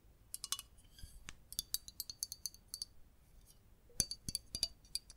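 Long nails tap along the body and bottom of a red printed aluminium Coca-Cola soda bottle with a cap, held in the hands. Quick, bright metallic clicks come in loose bursts with short pauses, each ringing only briefly with a high, thin shimmer and little low end.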